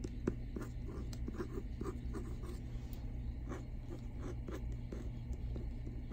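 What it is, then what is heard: Hardcover book with plastic-covered jacket. Fingertips and short nails scratch and tap across the front cover of a solid hardcover library book, *Come August, Come Freedom*, lying flat on a desk, its paper dust jacket protected by a glossy plastic cover. Short, dry taps and soft scratchy strokes repeat over a steady low hum.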